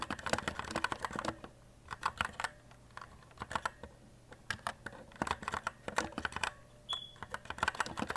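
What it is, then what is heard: Plastic mechanical keyboard. Fingertips type continuously on an E-Element Z-88 white RGB mechanical keyboard with plastic keycaps, resting on a desk. The result is a rapid stream of sharp, dry plastic clicks and clacks in uneven bursts, separated by short quiet gaps.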